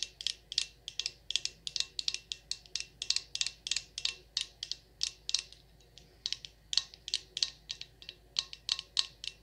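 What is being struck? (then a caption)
Glass candle jar filled with wax. A glass jar candle filled with wax, labeled Champagne Toast and topped with a dark lid, is held in the hand and tapped on the glass with long acrylic nails. About forty quick, bright clicks come in an irregular rhythm, each dying away almost instantly, with no low end beneath them.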